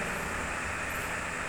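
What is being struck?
Nothing is struck.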